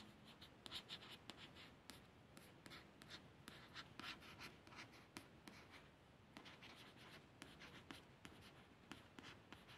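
A steady run of soft, short scratches, bright and papery with no ring, as a fingertip and nail trace across the slick printed card of a thin paperback. The book lies on a soft surface, so nothing resonates underneath; the sound stays close and quiet.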